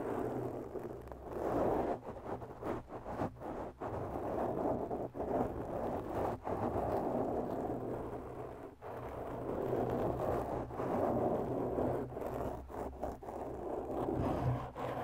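Long bare natural nails slowly scratch a black, soft, porous foam windscreen on a microphone, producing a continuous muffled, crackling rustle concentrated in the low-mid range. The scratching is broken by brief dropouts between strokes, with a faint low hum underneath.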